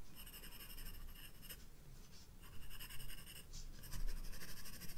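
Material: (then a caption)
Paper. A graphite pencil shades a vase with quick strokes on the white paper page of a spiral-bound sketchbook. The result is a soft, continuous scratching with bright, hissy strokes that swell and fade, over a faint low rumble.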